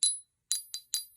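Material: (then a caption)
Quartz. A Lemurian quartz "singer" crystal, marked down because of a chip on its face, is tapped five times, especially along its Lemurian lines. Each tap gives a short, bright, high glassy ring with a wide spread between tones and no low end, fading in about a tenth of a second. The crystal rings clearly despite the chip.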